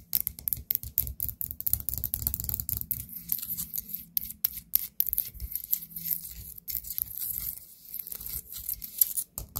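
Long nails tap the rim and sides of a small orange ceramic pumpkin-shaped candle pot filled with wax, sitting on a table. A steady run of quick, crisp clicks with bright high ticks and soft low thuds, each dying away almost instantly with no ring.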